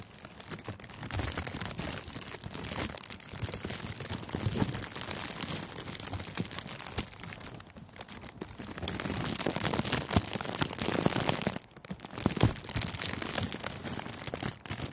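Thin, clear plastic cellophane gift wrap covering a furry microphone windscreen is crinkled and pressed with the fingertips at its edges. The result is a dense, continuous stream of close crackles and rustles with a heavy low-end rumble and bright, crisp texture on top. The sound briefly dips quieter just before the 12-second mark and then resumes.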